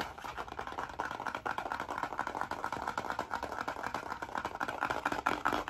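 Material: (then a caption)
Cardboard. Fingernails scratch fast across the cover of a blue cardboard-cover, spiral-bound hardcover notebook held flat behind the microphone. The result is a dense, continuous stream of quick, dry scratches centered in the midrange with little low end, holding a steady moderate level throughout.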